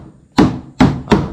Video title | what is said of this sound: Pembuatan Bot Fiber (Episode 2) | Ketuk body luar ni menggunakan tukul getah sampai ada bunyi macam bunyi benda terlepas. ... Ha bunyi macam ada dah kosong.